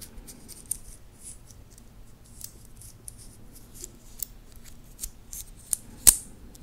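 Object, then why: Titanium watch band. Fingertips flex and work the links and clasp of a titanium watch band, making bright, high-pitched metallic clicks and light scraping over a quiet low background. The clicks are sharp and die away almost instantly, with the loudest snap near the end.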